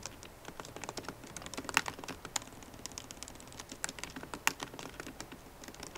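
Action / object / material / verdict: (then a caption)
tap / plastic laptop keys in a metal case / plastic / none. Fast typing on a MacBook Pro keyboard with plastic keycaps in an aluminum body, using long nails and fingertips. A quick, uneven stream of short, bright taps and clicks, with a few sharper, louder clacks standing out. Each tap dies away almost instantly.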